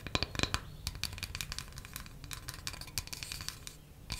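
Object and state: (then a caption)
Wooden coaster. A small, flat, solid square wooden coaster, held in one hand, is tapped quickly with long matte black nails. The result is a rapid, steady stream of sharp, dry clicks with a bright tone. Each tap dies away almost instantly at a soft, even level.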